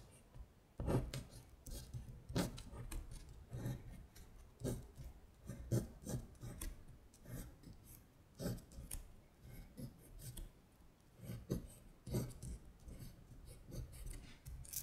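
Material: Paper.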